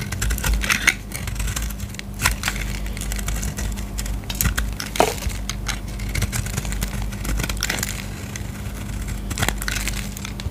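A utility knife blade shaves curls off a solid light green bar of soap held in the hand. Dense, dry scraping and crumbly crackles, with frequent bright snaps, run continuously over a steady low hum.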